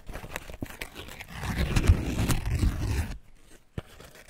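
Fingertips and palms rub and press thin, dry, pale green corn husk leaves lying loosely over husked white corn ears, making a dry, crinkly rustle with a deep, muffled rumble underneath. The rubbing grows fuller and louder from about 1.5 to 3 seconds, then cuts off abruptly, leaving near quiet with one soft tap just before the end.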